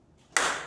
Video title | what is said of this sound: 今さら聞けないフライス盤による精密6F加工！【Vブロック製作】 | 勘高い音がね、一瞬なったんすよ。キンみたいな。そういう音がしてるとおそらくパラレルブロック動いてます。ちゃんと座ってない